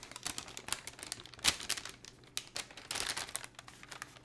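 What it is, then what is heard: Paper envelope being crinkled. Both hands hold, flex and crinkle a thin, patterned, printed paper gift envelope that is empty and hollow. The sound is a run of quick, bright, crisp crackles and rustles with no low end, each snapping off almost at once. The loudest crackle lands about a third of the way in.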